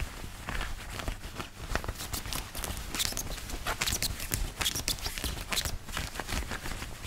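Fingertips and nails scratch and tap quickly across the chest and button placket of a white long-sleeve woven cotton button-up shirt worn on the body. The result is a dense, continuous run of crisp fabric scratches and short taps, bright and hissy on top with soft low thumps underneath.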